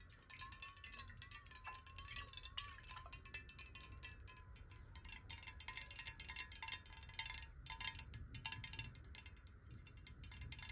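Long nails tap rapidly on a clear, hollow glass water bottle with water inside, held in both hands. A dense run of bright, quick ticks and chime-like pings rides over a faint steady tone near 1 kHz and a low background rumble.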